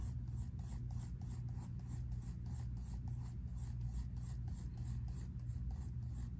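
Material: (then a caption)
Paper. A pink mechanical pencil scratches and shades across a spiral-bound sketchbook paper page in quick, rasping strokes. The steady scratching carries faint bright streaks over a continuous low hum.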